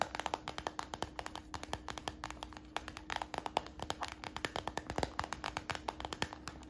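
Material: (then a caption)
PVC plastic. Fingertips and nails tap rapidly on the stiff side of a hollow, empty brown translucent PVC plastic bag, a tinted, transparent, glossy plastic purse held in the hand. The taps are short, sharp plastic clicks in a quick, irregular patter, with a faint steady hum underneath.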